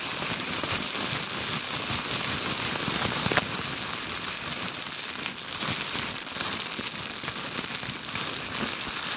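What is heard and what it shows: A crumpled sheet of clear plastic bubble wrap is held in both hands and scratched and squeezed with long glitter nails. It makes a dense, continuous, bright crinkling and crackling at a steady level, with a sharper snap a little past three seconds and brief louder rustles later on.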